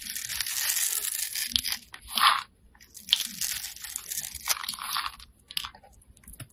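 A solid bright green soap bar, held in the hand, is scraped with a utility-knife blade into small cubes. A steady, crisp, bright crunching and scraping gives way to sharper separate crunches and cuts, with very little low end. Small pieces of soap crumble away under the blade.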